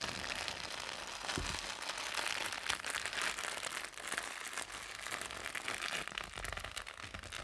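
A soft, clear plastic bag filled with white cotton pads is held over a laptop and squeezed and crumpled with fingertips and painted nails. It gives a steady, dense crinkling and crackling that is mostly bright and high, with little low end, continuing evenly throughout.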